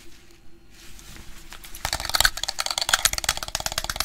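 Grey plastic over-ear headphones with a hollow headband and padded ear cups are tapped and handled with the fingertips. Quiet handling and faint rustles give way, after about two seconds, to a dense run of sharp, bright plastic clicks and taps.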